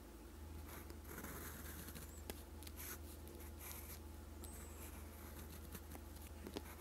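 A steel fountain pen nib with a gold section, held in fingers, scratches across a flat sheet of lined writing paper on a desk while writing Korean letters in green ink. Soft, dry scratching and rubbing strokes come in short bursts over a steady low hum, with a few brief high squeaks and small ticks as the nib moves and lifts.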